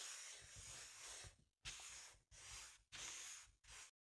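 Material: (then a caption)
Latex rubber. The end of a wooden or plastic handle is rubbed and pressed across the surface of a large, hollow, inflated green latex balloon with a llama print. It makes soft, bright, hissing rubbery strokes: one long drawn-out rub followed by four shorter ones separated by brief silences.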